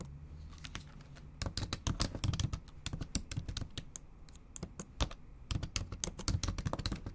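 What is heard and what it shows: Long acrylic nails type rapidly on the bare plastic keys of a backlit MacBook Pro keyboard. Bursts of sharp, bright clicks and taps come in quick runs separated by short pauses, over a low background hum. Each tap dies away almost instantly.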